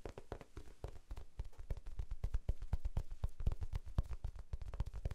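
Fingertips tap quickly on a small rectangular pink foam sponge, soft and solid, held in both hands. The result is a rapid, uneven patter of soft, dull low thumps that stop dead with no ring.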